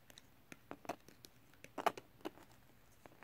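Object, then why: Glitter paper sheet. A flat sheet of silver holographic glitter paper or card lies on fabric while a fingernail and a small, thin pointed edge held in the fingers scratch across its textured surface. The result is a quiet series of short, dry scratches and crackles that vary in strength, with a louder cluster near the middle.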